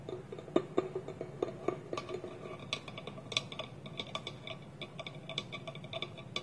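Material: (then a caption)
Wood. Fingernails tap a small, polished, hollow wooden bowl with a wooden lid held against it, in a quick, ticking rhythm. Each tap is a short, dry click with a hollow woody tone and a bright edge that dies away almost at once. The taps stay quiet and uneven, with a few sharper accents over the 6.5 seconds.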